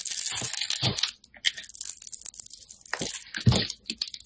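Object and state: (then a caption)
Bar soap being scraped. A metal utility blade scrapes and slices thin sheets off a handheld solid orange bar of soap. Bright, crisp crunching and crackling scrapes come in bursts with short pauses, some strokes carrying a low thud beneath the high hiss. Thin sheets of soap peel away with each pass.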